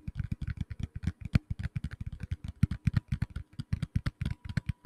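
A black tablet in a plastic case, held close to the mic, is tapped rapidly with fingertips and nails, giving about 33 quick, dry taps in an uneven rhythm. Each tap has a dull, low thump with a faint bright click on top and dies away almost instantly.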